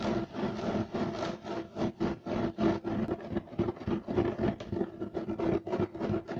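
Fingernails of both hands scratch aggressively and fast across a beige, striped, loop-weave woven fiber carpet. About 17 dry rasping strokes come in a quick, uneven rhythm, each a short scuffing burst with a dull, mid-toned texture and little high-end hiss. The bursts stop sharply with almost no ring between them.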